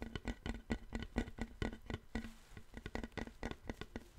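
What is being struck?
Wooden plank.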